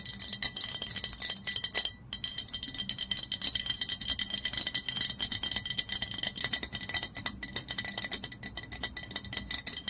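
Long nails tap and scratch quickly on the body and label of a glass olive oil bottle lying on its side. The result is a dense, steady stream of bright, sharp clicks and scratchy rasps with almost no low end. A brief pause comes near the two-second mark.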